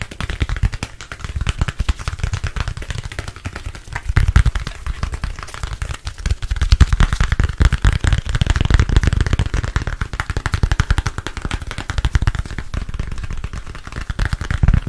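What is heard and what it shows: A thin, solid black smartphone is held up in both hands and tapped quickly with fingertips and nails on its back and edges. The result is a dense, continuous stream of short, dry, crackling taps, heavy in low thumpy tones, with slight swells in loudness throughout.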